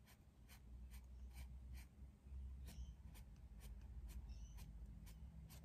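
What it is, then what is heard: Pencil strokes on a paper sketch pad. A dark green pencil scratches short strokes across a large white paper drawing pad lying flat on a desk, shading leaves. Quick, bright, scratchy strokes repeat at an uneven pace over a steady low hum that stays underneath throughout.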